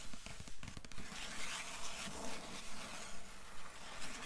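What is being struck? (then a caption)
Paper endpaper over the inside board of a hardcover book. Long nails scratch the blue paper endpaper of an open hardcover book, rubbing over the inside board. Steady, evenly paced scratching strokes swell and fade in a regular rhythm, with a soft, papery rasp carried mostly in low, muffled tones.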